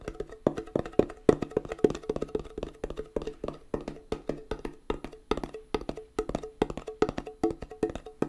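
Fingernails tap rapidly on the lid of a small, round, closed metal tin of hand putty labeled "Hand Gum." The steady run of dry, clicky taps carries a hollow, pitched ring around 426 Hz, and each tap dies away almost at once.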